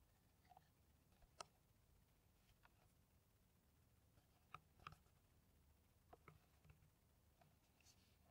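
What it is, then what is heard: Empty plastic water bottle. An empty, hollow clear PET water bottle with a white cap is held in the hands and tapped with long nails. Eight sharp, irregular clicks with a bright, hard edge stand out over a soft, steady hiss, each dying away almost instantly.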